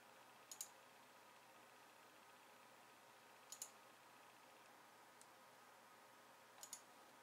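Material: Plastic.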